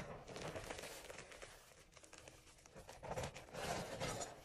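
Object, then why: Gym chalk powder and flakes in a bowl. Fingers rub, squeeze and crumble dyed gym chalk, mostly crushed powder with a few flakes, in an enamel bowl. The result is a continuous soft, gritty crunching and crinkling that stays dense and bright, quieting briefly in the middle before louder crunching bursts near the end.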